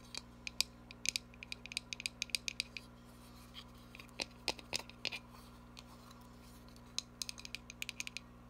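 Long nails tap a small cardboard box as it is turned to show its sides, making quick bursts of sharp, bright clicks with softer scratchy moments in between. The taps come in uneven clusters with short pauses, and each one dies away instantly over a faint steady low hum.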